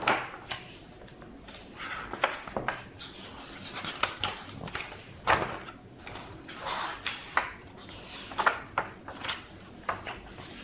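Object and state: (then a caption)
Book pages being flipped. Fingertips of one hand lift and flip single thin, glossy pages of a large open hardcover Deathwatch RPG rulebook, bending the paper so it rustles and slaps down. Crisp, bright papery swishes and short sharp slaps come at irregular intervals over a quiet background, with almost no low end.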